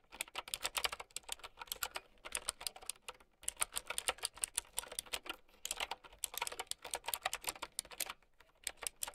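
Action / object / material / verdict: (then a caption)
tap / plastic mechanical keyboard with round keycaps / plastic / none. A mint-green, typewriter-style mechanical keyboard with round plastic keycaps is typed on with long nails and fingertips. Rapid bursts of sharp, bright clicks are broken by brief pauses, with each keystroke dying away almost instantly.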